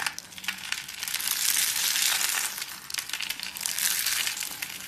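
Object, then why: Curled rose of thin soap shavings. A hand-sized rose of thin, dry, dark soap shavings rolled in a spiral is squeezed and crushed between bare fingers into brittle flakes. A dense, bright crackling crunch swells and eases in waves, with almost no low end.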